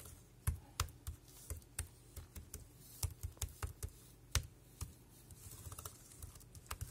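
Fingertips tap the round keys of a dark grey, compact plastic wireless keyboard with a hollow casing, producing 21 quiet, separate taps at an uneven typing pace. Each keystroke gives a short, bright click over a low, hollow thump and dies away almost at once.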